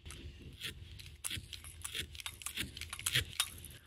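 A felting needle repeatedly pokes into firmly packed wool felt, making a rapid series of crisp, crunchy stabs with bright high-frequency texture. The crunchy sound signals that the felt has reached the right hardness.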